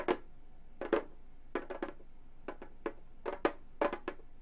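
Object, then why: Synthetic-head frame drum. Long gold metal finger claws on both hands tap a round, hollow Remo frame drum with a synthetic skin-look head lying flat. The result is an irregular series of short, dry, clicky taps, some in quick pairs and triples, each with a low-mid hollow tone around 340 Hz that dies away almost at once.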